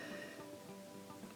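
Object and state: Nothing is struck.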